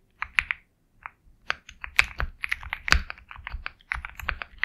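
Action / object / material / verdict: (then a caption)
tap / mechanical keyboard with plastic keycaps / plastic / none. Fingertips type steadily on a compact 65% Sugar65 mechanical keyboard with KTT Kang White switches, a black case, and white and black plastic keycaps. About twenty-one short, crisp clacks are heard, each with a bright click over a soft low thock, and the sound dies away almost instantly between keystrokes.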